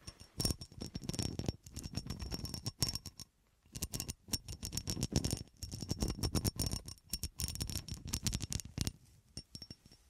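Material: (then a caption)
Glass. A solid, hand-sized clear cut glass horseshoe with ridges is held in the hand and scratched and tapped with long dark acrylic nails. Rapid bursts of short, dry clicks and scratchy rasps follow one another with brief pauses. Each tap dies away almost at once, with a faint bright glassy edge.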